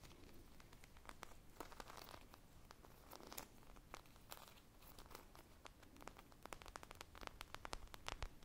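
Long painted nails and fingertips scratch and squeeze a hand-sized, solid polyurethane foam squishy toy shaped like an ice-cream pop, with purple glaze, sprinkles and a wooden-look stick, held close to the microphones. The result is a quiet, steady stream of dry, crackly scratches and crinkling ticks, with sharp bright clicks from the nails over a soft low rumble.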